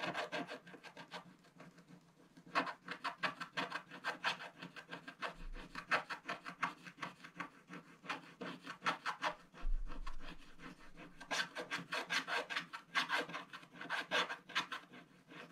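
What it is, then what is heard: Scratch-art paper page. A thin wooden stylus held in the fingers scratches the black wax coating off a colored paper page in a spiral-bound scratch-art book lying flat, leaving black shavings. Quick, dry, raspy strokes come in rhythmic bursts with bright scraping edges over a faint steady low hum.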